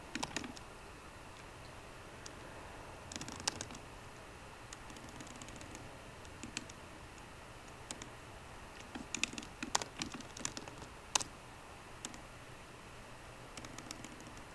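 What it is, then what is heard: Laptop keyboard with plastic keys. Fingertips of both hands type on a 13-inch MacBook Pro keyboard, its low-profile plastic keys set in a solid aluminum body. Sparse, quick, bright key clicks come in scattered bursts over a low, steady background hiss, each tap dying away almost instantly.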